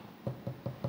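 Four quick knocks on a solid table, each a short, dull low thud around 125 Hz with almost no ring. The knocks are evenly spaced and show that the solid table makes a sound when knocked.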